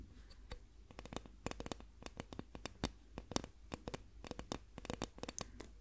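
A plastic ruler is tapped in the third round of a hearing test, as the contrast to a wooden ruler. It gives a rapid, irregular run of short, dry, clicky taps with almost no ring, over a low background hum.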